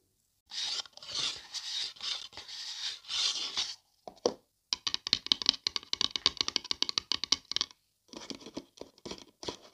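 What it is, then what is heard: Paper coffee cup. Long dark nails scratch and tap the side and rim of a hollow, printed, empty-looking paper coffee cup held close to the mic. Several long, bright, dry scraping strokes are followed by a quick run of crisp, papery taps and short scratches. A final brief cluster of lighter scratches ends the clip.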